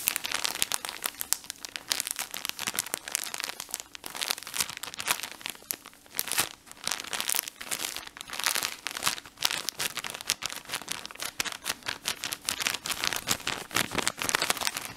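A full blue plastic-film pack of cotton pads is squeezed and twisted in both hands, crinkling it. The result is a dense, continuous, bright crackle of sharp plastic crinkles that swells and eases in waves, with almost no low end.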